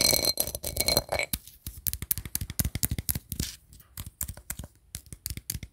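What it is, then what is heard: Empty metal tin can. An empty-looking cylindrical tin can with a shiny metal lid and a wood-grain printed wrap is held close and tapped and scratched with fingernails on the lid and sides. The first second has bright, scratchy metallic ringing. Then come rapid, dry, short taps with quick thuds that die away almost instantly.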